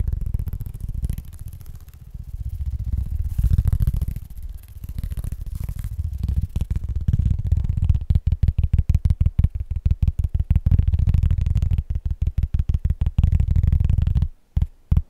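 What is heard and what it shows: Fingertips tap fast on the surface and edge of a large, round, solid cork disc held close to the microphone. The sound is a quick, uneven patter of dull, deep thuds with almost no ring. In the first half the taps run together into a soft rumble. In the second half they separate into distinct knocks, then stop abruptly near the end.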